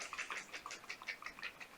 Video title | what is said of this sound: Joah Box Unboxing // K-Beauty Subscription // Still Loving It!! | when you shake it you can hear it feels like water